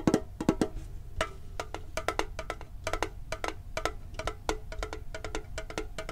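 Fingertips tap quickly on the lid and side of a hollow, hand-sized printed metal Pokémon card tin held close to the microphone. A fast, uneven series of dry, clicky taps with a low hollow tone around 320 Hz sounds out. Each tap dies almost at once, with brighter clicks on some strikes.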